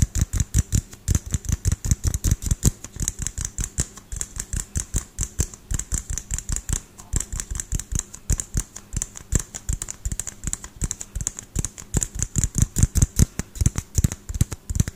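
A small pinkish LED light bulb with a frosted plastic dome is held close and tapped rapidly with fingertips and nails. The result is a fast, irregular stream of short, dry taps with a deep thumpy body and a bright, crisp click on top.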